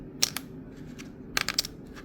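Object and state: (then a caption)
Plastic memory card dropped. An ordinary plastic memory card is dropped, giving light, bright, high-pitched clicks in two brief clusters with almost no ring or low end. Compared with a resin card, it doesn't sound the same and lacks that bounce and sound quality.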